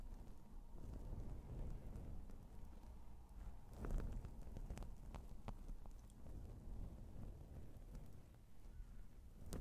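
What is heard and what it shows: Fingertips of both hands, one hand wearing rings, tap and scratch around a soft, porous, fist-sized black foam windscreen covering a microphone. The result is a close, low, muffled rustling rumble with dull thumps and a few sharp, bright clicks scattered throughout.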